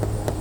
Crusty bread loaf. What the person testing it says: it's Hollow okay you hear that